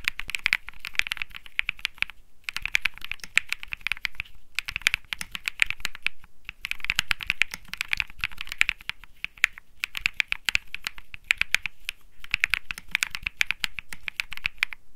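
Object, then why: Mechanical keyboard with plastic keycaps. A cream Think 6.5 mechanical keyboard with Bsun Lollipop switches and plastic keycaps sits on a felt mat and is typed on with one hand's fingertips. It produces fast runs of short, crisp, bright clacks centered in the upper mids, with a light low thump beneath. The bursts are separated by brief pauses.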